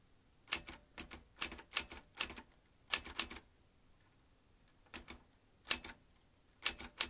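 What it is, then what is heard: Metal manual typewriter. Fingertips type on the round keys of a vintage metal manual typewriter, producing bursts of sharp, bright clacks. The keystrokes come in irregular clusters separated by short pauses, each strike crisp with almost no ring.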